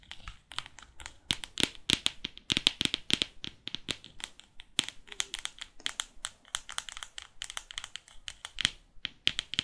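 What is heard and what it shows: Long fake nails tap and scratch across the laminated cover and edges of a large hardcover photo book. The result is a rapid, irregular stream of sharp, bright clicks and crisp scratching with very little low end. Each tap dies away almost instantly.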